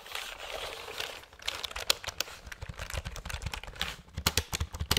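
A full-size black plastic computer keyboard is held up close, and fingertips and nails rapidly tap and press its keys. A soft, hissy rustle in the first second gives way to a quick run of sharp, bright plastic clicks with short dull thumps underneath, each dying away almost instantly.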